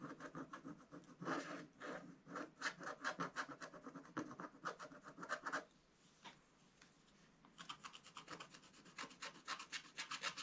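A wooden stylus scratches a scratch-art coated paper page in a spiral book with quick, short strokes to reveal colour. The result is a dense run of dry, bright rasping scrapes that pause briefly near the middle, leaving only faint scratches, before the rapid strokes resume.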